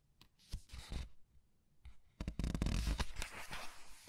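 Fingers with long nails turn the glossy paper pages of a large art book and squeeze them. Short bursts of crisp, rustling paper stand out over a low, muffled thump. A quiet pause gives way to a denser stretch of crinkling and rubbing toward the end.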